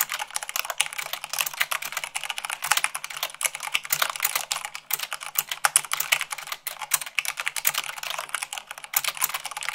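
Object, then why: Plastic mechanical keyboard. Long pink nails and fingertips type fast, at about 98 words per minute, on a full-size mechanical keyboard with white plastic keycaps on a black frame. The result is a dense, continuous stream of sharp, bright clicks and clacks with almost no low end, each keystroke dying away instantly.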